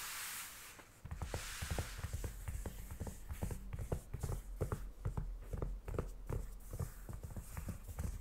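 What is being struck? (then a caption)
Aluminum laptop lid. White cotton-gloved fingertips tap and drum on the aluminum unibody lid of a closed 16-inch MacBook Pro, a solid thin shell lying flat. After a brief soft, airy hiss, a quick, uneven run of muffled, dull taps follows. Each tap thuds low and dies almost at once.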